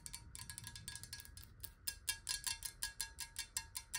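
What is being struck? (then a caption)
Glass water bottle, partly filled. Long nails tap rapidly on the sides of a clear, square-sided glass water bottle that is hollow, partly filled with water, and tilted so the water moves inside. The taps are quick, bright glassy clicks with a chime-like tone near 1.7 kHz that dies away almost at once. They come in a fast, uneven rhythm that grows louder and more spaced out toward the end.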